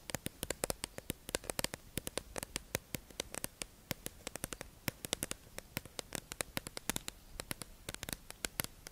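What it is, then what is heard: Clear plastic sponge package tapped with nails. A hollow, clear plastic, tube-shaped package holding makeup sponges is held in the hand and tapped and scratched with long acrylic nails. The result is a quick, irregular stream of sharp, dry, bright clicks that stop almost instantly, with soft scratchy rustling and faint hiss between them.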